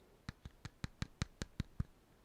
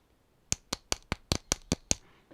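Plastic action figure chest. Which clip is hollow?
The second.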